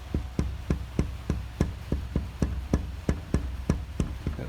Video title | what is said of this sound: Window Installation Part 2 | there's the sound of the glass